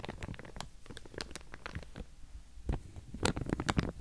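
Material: Plastic.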